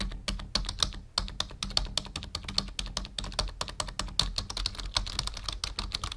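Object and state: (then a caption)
Plastic computer keyboard being typed on. Fingertips of both hands type on a black full-size plastic membrane keyboard with a numpad, resting on a wooden desk. About 45 quick, bright clicking taps come in a steady run with a brief pause near the one-second mark, each dying away almost instantly over a low steady hum.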